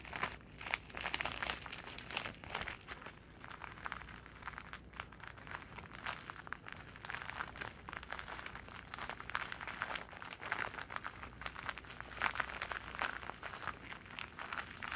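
A shiny white-silver plastic padded bubble pouch is crinkled in the hands, then scratched and rubbed flat on a blanket with long nails. The result is a dense, continuous run of bright crackles, crinkles and scratchy rustles with little low end, swelling and easing in loudness throughout.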